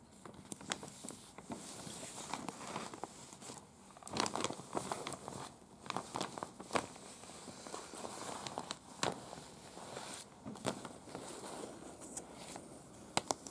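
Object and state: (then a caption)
Paper map tapped and scratched with nails. Long, pointed dark-red acrylic nails tap and scratch across a large unfolded printed paper map of Prague, a thin, flexible sheet lying flat on a bed. Sharp, crisp clicks break through a steady, dry scratching and crinkling rustle with a bright top end. Each tap dies away almost instantly, with no ring.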